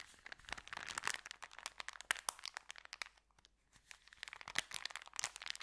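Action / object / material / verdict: scrape / folded paper bag / paper / none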